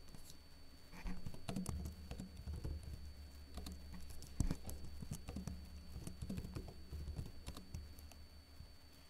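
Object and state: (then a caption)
Plastic laptop keyboard. Fingertips with short blue-painted nails lightly tap the hollow keycaps of a backlit plastic laptop keyboard. Soft, dull, quick clicks come in uneven bursts of typing over a steady low hum.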